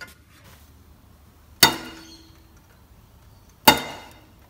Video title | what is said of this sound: The basics to sound deadening in cars. What should I use to control sound and heat in my car? | you can hear that that ringing effect is no longer there